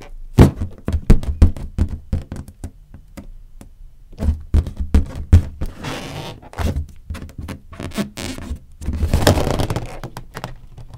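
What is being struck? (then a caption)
Inflated latex balloon. A large, hollow, air-filled green latex balloon is knocked and tapped with long nails, giving a run of dull, low, boomy thunks that die away quickly. It is then pressed and squeezed by hand, producing longer rubbery rubbing and stretching sounds, with no pop.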